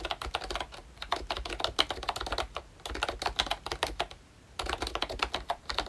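Fingertips type on a pink ROYCHE Disney Mickey Mouse retro plastic membrane keyboard with round keycaps and a hollow body. Quick bursts of bright, short clacks and soft taps are heard, with brief pauses between runs of typing.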